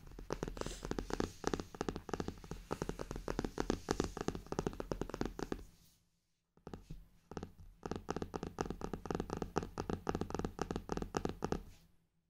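Fingertips and nails tap and scratch the textured cover and raised gold clock emblem of a brown faux-leather hardcover journal with a ruler-marked edge. It makes a dense run of quick, dry taps and scratches with a low body around 240 Hz, in two bursts split by a short pause near the middle.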